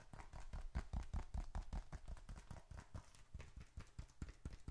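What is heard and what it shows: Fingertips tap quickly on both faces of a small, closed, reddish-brown leather bifold wallet, stuffed with paper bills and receipts and held upright in both hands in front of the mic. The result is a rapid, somewhat irregular run of soft, dull, low thumps, each very short and dry.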